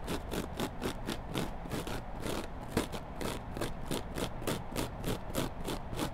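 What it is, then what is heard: Kitchen sponge scratched with nails. A hand-sized, solid yellow foam kitchen sponge is held with its green abrasive scouring-pad side up and scratched with long black glittery nails. A steady run of quick, rhythmic scratching strokes gives a crisp, rasping hiss over a soft low rumble.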